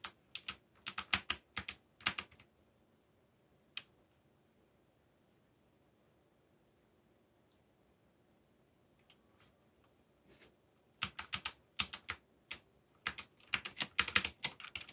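Fingertips type on a backlit mechanical keyboard with black plastic keycaps and a yellow backlight, producing bright, crisp clacking keystrokes in quick, uneven bursts. A flurry of typing opens the clip, then a single click and a long near-silent pause with a few faint taps. The typing resumes in dense bursts through the end.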